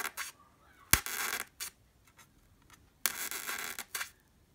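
A sharp wooden pencil tip pokes into a white solid styrofoam block near its edge, moving toward the top of the block. Quick, bright taps and crunchy pokes alternate with longer squeaky, scratchy grinding as the tip pushes into the foam, separated by brief quiet pauses.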